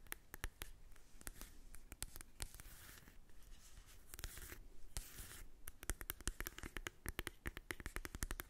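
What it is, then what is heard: Cardboard eyeshadow palette. Long acrylic nails tap and scratch the printed cover of a small, flat, hollow cardboard Too Faced Born This Way mini eyeshadow palette held in the hand. Sharp, bright clicking taps come in quick bursts, broken up by stretches of dry, scratchy rubbing across the cover. The clip ends in a fast flurry of crisp taps over a faint low hum.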